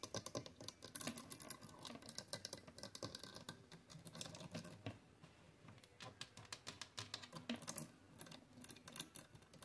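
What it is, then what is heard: Plastic clothes hangers. Long acrylic nails and fingertips tap and click along a row of white plastic clothes hangers with hollow hooks on a closet rod, with clothes hanging below. Quick, bright, dry clicks come in irregular rapid bursts with a light scratchy texture, easing into a quieter stretch midway before the sharp taps return. Each click dies away almost instantly.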